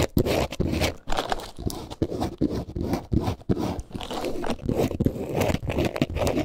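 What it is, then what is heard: Faux leather wallet being scratched. A small multicolor snake-print textured faux leather wallet, held in the hands, is scratched with nails. It gives quick, crunchy, scraping bursts with short pauses between them, weighted toward low, dull tones with little bright content.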